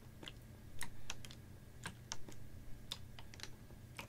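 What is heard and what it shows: Fingernails tap a clear, ribbed PET water bottle that is capped, about half full of water, and held horizontally. The result is a series of sharp, bright, clicky ticks at an uneven pace, each dying away almost instantly, over a steady low background rumble.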